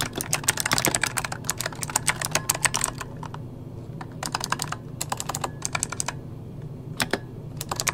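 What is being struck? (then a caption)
Plastic mechanical computer keyboard. Fingertips of both hands type rapidly on a full-size backlit mechanical computer keyboard with plastic keycaps. Bright, sharp key clicks come in dense bursts over a steady low hum, thinning out in the middle before picking up again toward the end.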